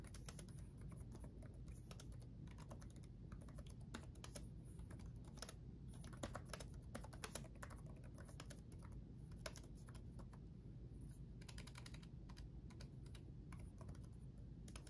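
Both hands type rapidly with their fingertips on the backlit chiclet keyboard of a black laptop, its plastic keycaps set in a solid chassis. A continuous stream of short, bright, clicky key taps sits over a steady low hum throughout, with a few slightly louder strikes in the middle.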